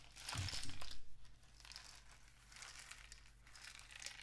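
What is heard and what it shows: A painted cardboard rain stick with a black plastic end cap is tilted and tapped with fingertips. A loud burst of bright, crinkly rattling with a few low thumps comes in the first second, then it settles into a softer, steady trickling patter that swells again near the end.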